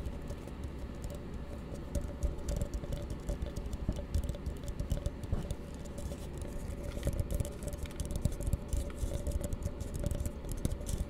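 A small, hollow, empty blue plastic tumbler held close is rapidly tapped by fingertips and nails. The result is a dense, continuous patter of short, dry, dull taps, heavy in the low end with a faint hollow tone around 600 Hz. Every tap stops almost instantly with no ring.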